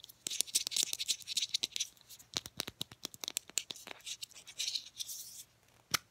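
Long painted nails tap and scratch a small Degree deodorant stick with a translucent teal hard plastic case and cap. Rapid, dry, bright clicks are broken up by stretches of hissy scratching, all in the high frequencies with no ring after each hit.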